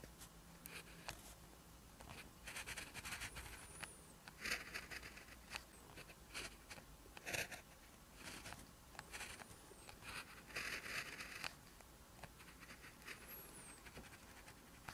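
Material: Paper.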